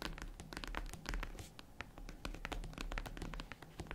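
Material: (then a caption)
Faux leather. Long nails tap and scratch the top of a small, hollow, tan faux-leather zippered jewelry case while it is closed, as the other hand taps its side. The result is a quick, uneven run of soft, dry clicks and brushing scratches with a low, hollow thump beneath them and short, bright ticks on top. Each tap dies away almost at once.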